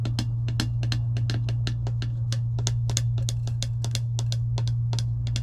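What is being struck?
Clear plastic tumbler lid.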